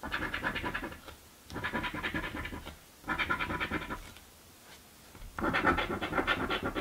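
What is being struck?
Paper scratch-off lottery ticket.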